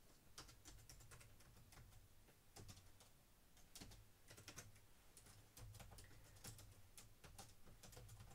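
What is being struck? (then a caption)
Plastic laptop keyboard. Both hands type quickly on a black plastic laptop keyboard resting on a wooden desk, fingertips and medium-length dark-painted nails tapping the keys. Quiet, rapid, bright clicks and taps run steadily over a low hum.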